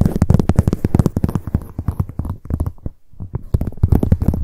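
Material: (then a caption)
Leather. Long acrylic nails tap rapidly on the leather surface of a hollow black leather handbag lying on its side. The result is a fast, uneven run of dull, low, hollow thumps with no ring, easing briefly near the three-second mark before picking up again.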